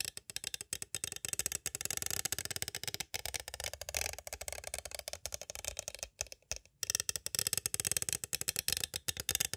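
Two thin green-and-white striped sticks tap rapidly from both sides on a small, hollow, clear plastic cassette case held upright, with a Mozart Horn Concertos tape and paper insert inside. The result is a dense stream of bright, dry clicks with almost no ring. The tapping pauses briefly around the three-second mark and again near six to seven seconds.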